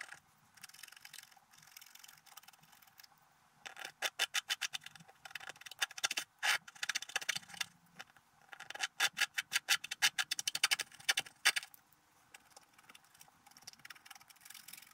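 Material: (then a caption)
Coated paper. A wooden stylus scratches large areas of coating off a flat, coated scratch-art paper card in dense strokes. The result is bright, dry scraping in rapid bursts of short strokes, separated by quieter stretches of light scratching.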